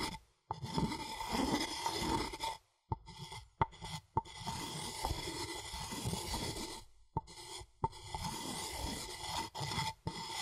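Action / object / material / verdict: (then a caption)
scrape / wooden mortar and pestle / wood / none. A wooden pestle is scraped and ground around inside a light, hollow, empty wooden mortar with groove rings, the mortar held in one hand and the pestle worked with the other. Steady rasping, grinding strokes run in long passages, broken by brief silences and a few sharp knocks, with a faint hollow ring under the scrape.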